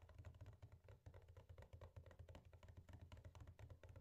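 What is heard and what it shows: A closed, flat rectangular printed cardboard box of turrón duro (hard nougat), apparently full, lies on a wooden table and is tapped rapidly with the fingertips and nails of both hands. The result is a quiet, steady patter of short, dull, low thumps, each dying away almost at once, with faint clicks on top.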